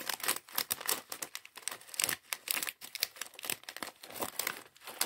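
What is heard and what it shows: A small clear plastic bag full of LEGO plastic bricks from the LEGO Mindstorms mini bot set 40413 is held in both hands and squeezed and crinkled by the fingertips, shifting the bricks inside. The result is a dense run of bright, crisp crinkling bursts with faint clicks of bricks moving, short and dry with almost no low end.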